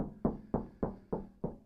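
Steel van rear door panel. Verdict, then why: Tinny. Someone bangs six times on the untreated steel rear door of a 2025 Ford Transit Custom MS-RT, which has no sound deadening. Each hit is a short, hollow knock with a ringing tone near 215 Hz that dies away within a fraction of a second. The door sounds tinny, unlike the much more solid treated front door.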